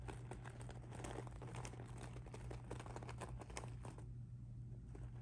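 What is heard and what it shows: A pink rhinestone mesh handbag lies flat while fingertips and nails scratch and pinch its mesh surface. The result is a quiet, continuous crinkling and scratching texture of dense small ticks and rasps over a steady low hum.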